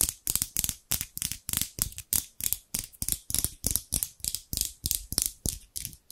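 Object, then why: Steel scissors. Large steel scissors with dark handles, held in both hands by someone with long pink nails, are repeatedly opened and closed beside the microphone so the blades slide and rub against each other. Each stroke makes a short, bright metallic swish-and-snip with a quick decay, repeating roughly three times per second in an uneven rhythm.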